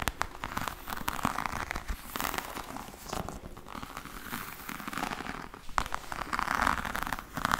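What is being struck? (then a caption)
Embossed faux leather hard case. Long nails tap and scratch across a black, glossy, croc-embossed faux leather hard case with a hollow hard shell. Quick, clicky taps mix with dry, crackly scratching that centers in the midrange around 1.2 kHz. Each tap dies away almost at once.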